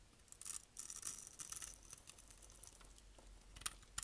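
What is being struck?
Bar of soap.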